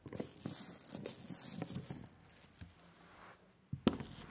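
A hand-held rubber brayer is rolled in different directions through a layer of sticky black printing ink on a glass slab. Each pass makes a tacky, crackling, tearing hiss with a bright high edge and low thumps, quieting to a softer smear midway before two sharp clicks near the end.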